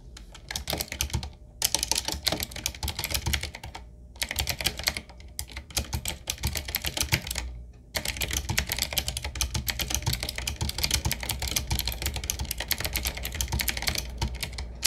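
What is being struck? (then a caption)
Mechanical keyboard with round plastic keycaps. Continuous two-handed fingertip typing on a retro typewriter-style mechanical keyboard with round black plastic keycaps, set in a wood-trimmed frame on a wooden desk. Rapid, bright, clicky keystrokes with a low thock underneath run in quick bursts, with a few brief pauses near 1, 4, 5 and 8 seconds. The typing then runs steadily to the end.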